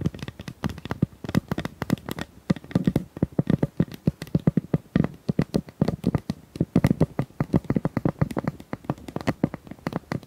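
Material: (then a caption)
Plastic. A pink plastic tube is tapped rapidly and steadily for about ten seconds. Each tap is a short, dry click with a hollow low body and a bright, crisp edge that dies away almost instantly, and the taps run in quick, uneven bursts.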